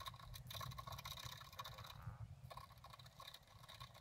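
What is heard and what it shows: A wooden stylus scratches rapid, quick strokes across the lower flowers of a flat black-coated scratch art paper card lying on a table. The sound is a dry, bright rasping with a steady tone near 1 kHz and a soft low rumble underneath. The scratching briefly thins out around the middle before resuming.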